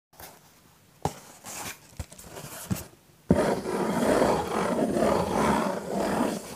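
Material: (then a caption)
Cardboard. Fingertips and short nails tap the front panel of a small, hollow, pink printed cardboard Pizza Hut "My Box" held in both hands. Four sharp taps come first, with softer rustling between them, then a steady, dense scratching across the cardboard runs to the end.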